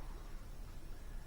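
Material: Nothing is struck.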